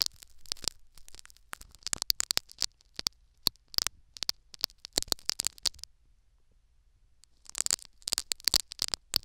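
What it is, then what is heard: Foam plug in a silicone ear microphone, scratched. Two metal needles poke and scratch a foam sponge plug set in the canal of a silicone ear microphone. The result is a fast run of short, bright crackling scratches with almost no low end and a quiet gap of about one and a half seconds before the scratching resumes.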